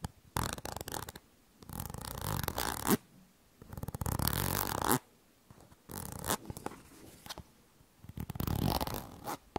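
Long nails scratch along the body of a yellow plastic cosmetic cream tube, apparently filled, held close to the mic. The result is bursts of rough, rasping scratching with a low, rumbling body and bright edges, separated by short quiet pauses.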